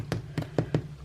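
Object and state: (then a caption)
Knocked sourdough loaf, hollow test. Four dull, low knocks on a home-baked sourdough loaf's crust, tapped to test whether it sounds hollow. The knocks are short and thuddy with little high-frequency content, and there is a faint steady background hum. Whether the loaf sounds hollow remains unclear, and the crust underneath turns out to be very thick.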